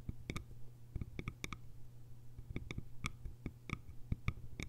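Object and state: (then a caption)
Bamboo lidded canister. Long nails tap the lid top of a small, round, hollow bamboo jar with a lid, then tap and scratch along its sides. The result is quiet, sharp, quickly damped clicks with a bright, hollow ring, scattered irregularly over a steady low hum.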